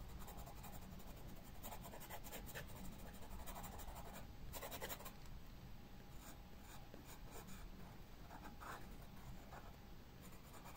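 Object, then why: Pencil on paper sketchbook page. A pencil tip scratches leaf outlines onto a white paper sketchbook page with quick strokes. Soft, dry rasping bursts come and go against a steady low hum, with brighter scratchy streaks on the faster strokes.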